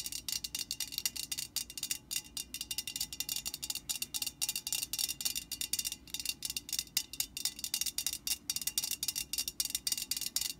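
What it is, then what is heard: Metal aerosol can tapped with fingernails. A hollow metal Static Guard aerosol can stands upright while long painted nails of both hands tap rapidly on its printed side. The result is a quick, steady stream of light, bright, tinny clicks with a high ring that dies away almost instantly, with almost no low end.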